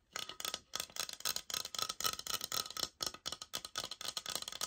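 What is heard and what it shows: Long nails tap and scratch across a thick laminate floor plank sample with a sticker label, which is briefly flipped to show its brown backing. The sound is a quick, uneven run of crisp, bright taps and scratchy strokes with almost no low end. Each hit dies away almost instantly.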